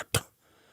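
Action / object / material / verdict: knock / hardcover book cover / board and paper / none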